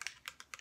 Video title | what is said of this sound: AVEDA Tulasara Skin Care Routine | you can hear the little doodad on the inside moving